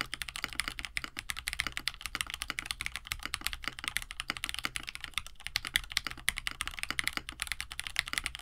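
Both hands type steadily with their fingertips on a compact 65% KBD67 Lite mechanical keyboard resting on a desk mat; it has a plastic case, an FR4 plate, lubed Hippo linear switches from KineticLabs, and blue/white PBT keycaps. A continuous stream of quick, crisp key presses produces short, bright clacks that fade almost at once, over a faint steady low hum.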